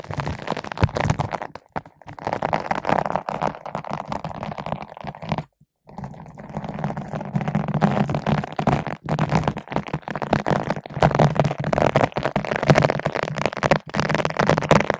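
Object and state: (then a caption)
Foam microphone windscreen brushed with a bottle brush. A long bottle brush with green and white nylon bristles, held in both hands, is rubbed back and forth across a large yellow-pink foam ball windscreen fitted over a microphone. This produces dense, continuous scratchy rustling and crackling with a muffled low-mid body. The sound pauses briefly around five and a half seconds, then resumes just as steadily.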